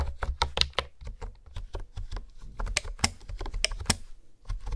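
Fingertips and nails type and tap on a hollow pink plastic honeycomb keyboard with hexagonal keys. They produce a rapid, uneven stream of short, bright clicks and clacks over a soft low thump. Each tap dies away almost instantly.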